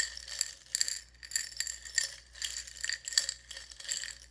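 A small clear glass jar partly filled with buttons is held sideways in both hands and shaken, so the buttons clink against the glass. Bright, rattling clinks come in rapid bursts with short pauses between them. A faint low hum sits underneath.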